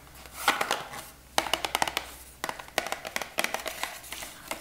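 Long nails tap quickly on a small, hollow, printed Veet cardboard wax strip box held in the hands. The result is light, sharp clicks in uneven bursts, each fading almost at once, with a hollow papery tone.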